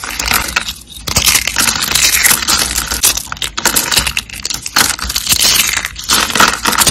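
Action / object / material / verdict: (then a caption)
scrape / small soap rolls / soap / none. Small purple and green dry glitter soap rolls, solid and brittle, are crushed and crumbled between fingertips. The result is a dense, bright, crunchy crackling that runs almost continuously, with brief dips and quick dry snaps throughout.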